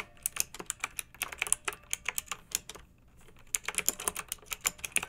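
Long-nailed fingertips type on a pink mechanical keyboard with round retro plastic keycaps and blue backlight, resting on a fluffy rug. Bright, sharp plastic clacks come in a quick, uneven run, pause for about half a second near the three-second mark, then resume just as fast.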